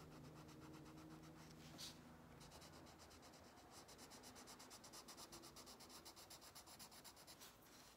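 A pink wax crayon held in the fingers rubs back and forth on an open paper coloring book page lying flat on a solid wooden table, coloring in a fish outline. Soft, bright scratchy strokes start as a blurred rubbing and settle into a steady rhythm of distinct back-and-forth swipes.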